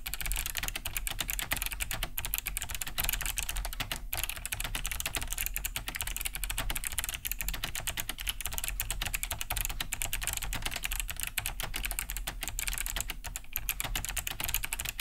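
Both hands type fast with their fingertips on a large beige Cherry G80-3000 mechanical keyboard fitted with Kailh BOX White switches, with a hollow plastic case and thick plastic keycaps, resting on a wooden desk. A steady, dense stream of crisp, clicky key-switch taps with a bright edge and a low thock from the casing carries on throughout, each tap dying almost instantly.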